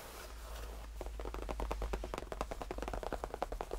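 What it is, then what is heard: Faux leather tufted bench. Fingertips of both hands tap and lightly scratch a cream faux leather tufted bench. After about a second of quiet hiss, a rapid run of soft, dull, short taps with light scratching begins over a low steady hum, each tap dying away almost instantly.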